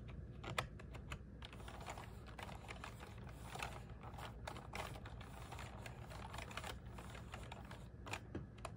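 Fingertips and nails rapidly tap the keys of a small black plastic one-handed gaming keyboard with RGB backlight, resting on a desk mat. Dense, quiet clicky typing patters along over a steady low hum, with a few sharper taps standing out.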